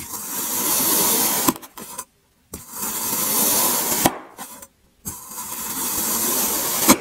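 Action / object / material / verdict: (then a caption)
scrape / kinetic sand block cut with a serrated blade / sand / none. A serrated metal blade cuts further into an already-sliced mound of grey kinetic sand, making three long, bright, gritty scraping and crunching strokes separated by brief silences. Each stroke ends with a sharper click as the sand crumbles apart.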